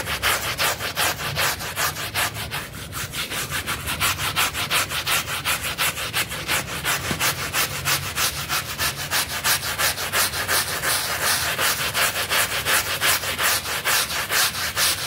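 A pink and green bristle brush scrubs a wet, foamy blue synthetic pile mat in steady back-and-forth strokes, producing bright, hissing swishes with a low, faint hum underneath. The strokes repeat at a fairly even rhythm throughout, with the scrubbing staying broad and airy rather than tonal.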